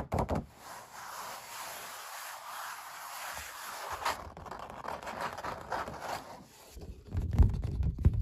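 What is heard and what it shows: Long black-painted nails and fingertips tap, knock and scratch on the surface of an oil painting of puppies, made on canvas stretched over a wooden stretcher frame that lies on a patterned cloth. Soft, dull knocks and a steady papery scratching are heard, with heavier low thumps toward the end.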